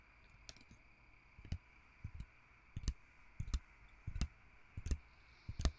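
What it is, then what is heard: Plastic and foil pill blister pack. A thin, flat pill blister pack with clear plastic bubbles holding pink pills and a white foil backing is held in one hand while fingertips and nails tap and scratch across the bubbles. About ten soft, short clicking taps land at an uneven pace, each a quick low thud with a bright crackly edge that dies away almost at once. A faint steady hiss and hum sits beneath them.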